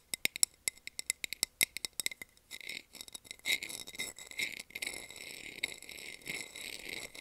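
A small, round, empty clear plastic container lid with a textured surface is held in hand and tapped, then scratched, with long nails. Quick, bright clicks come first in a steady run with almost no ring. They give way to a denser, continuous high scratching and rasping with a few sharper ticks mixed in.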